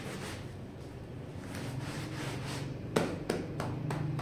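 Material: Wool.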